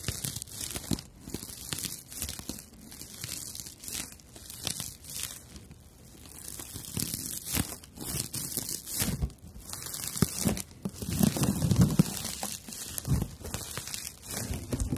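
A rough, fibrous dried natural loofah pad is held in both hands while long nails scratch along its surface. The result is a dense run of dry, crackling scrapes and crinkles with bright hiss on top and a low rustling body.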